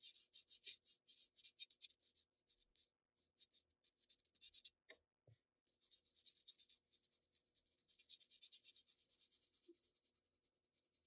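A black wooden graphite pencil scratches shading strokes at the lower edge of a flat Bristol paper sheet. Quiet, bright, dry scratching comes in quick irregular bursts, broken by a short pause near the middle with a couple of soft low taps.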